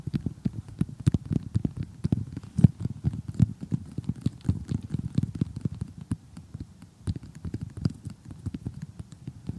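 Three fingertips with short painted nails tap and scratch across an assembled flat cardboard jigsaw puzzle showing giraffes and zebras. The result is a rapid, continuous patter of soft, dull, low-pitched taps with faint scratchy crackle, each tap dying away almost instantly.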